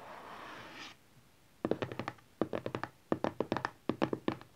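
A closed, hand-sized, hollow teal printed cardboard smartphone box (Honor 8X), lying flat on satin cloth, is tapped with the fingertips and nails of both hands. A soft hiss fills the first second, then after a brief silence come four quick clusters of short, dry, hollow taps with a mid pitch around 320 Hz and bright clicky edges, each dying away almost at once.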